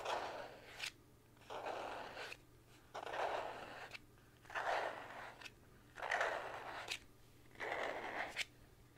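A thin white plastic card, held in both hands close to the camera, is scratched and rubbed with fingertips. Six bursts of dry, crackly scraping rise and fall, with short quiet gaps between them. The scraping has a papery midrange body and bright rasping edges, over a faint steady low hum.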